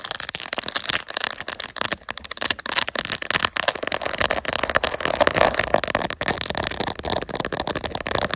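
Long nails rapidly tap and scratch across a phone in a clear, glittery plastic case with raised resin gummy bear inlays, mounted on a tripod. The result is a dense, fast stream of bright, crackly clicks and scrapes with almost no low end and no ringing after each touch.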